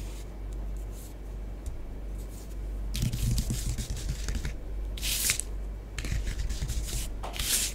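Long nails on both hands scratch and trace swirls through orange bath bomb powder spread on a tabletop. Soft, gritty scraping over a steady low hum swells into brighter, hissing bursts of scratching around the third, fifth and seventh seconds.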